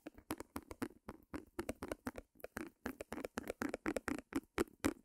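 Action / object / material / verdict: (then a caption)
tap / small stretched canvas on a wooden frame / canvas / none. Fingernails tap rapidly on a small white stretched canvas, with a wooden easel beside the microphone. The quiet, dry taps have a hollow low-mid thump and almost no ring. They come in an irregular run of about four per second throughout the clip.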